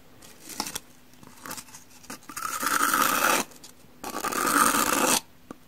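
A hand-held rectangular two-layer pumice block, with a brown porous side and a cream side, is scraped with the edge of a teal-handled metal kitchen knife. A few short, soft scratches give way to two longer, loud, gritty rasping strokes, with a bright hiss and a steady tone around 1.2 kHz.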